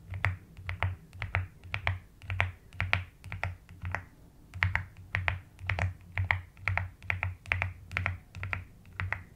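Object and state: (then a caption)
Plastic mechanical keyboard. Long almond-shaped nails and fingertips tap the keys of a full-size plastic mechanical keyboard with a white case and pastel pink, white and lilac keycaps resting on a desk. Irregular bursts of short, clacky keystrokes combine a bright click near 2 kHz with a deep, muffled thock around 100 Hz, each dying away quickly.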